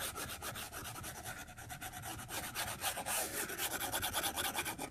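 A plastic stylus tip drags in short, rapid strokes across the flat glass screen of an iPad tablet, making a dry, scratching rub with a bright, hissy texture. The strokes repeat at a steady but uneven rhythm, each a brief rasp centered around 800 Hz, growing slightly louder toward the end.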